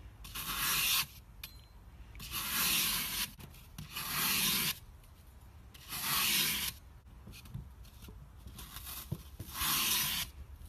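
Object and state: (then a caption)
Floral foam brick being scraped. A metal pie server scrapes and slices flat slabs off a hand-held brick of solid green floral foam, pushed through by hand over a patterned tabletop. Five separate strokes give a dry, bright, rasping rub, with quieter crumbly scratching between them.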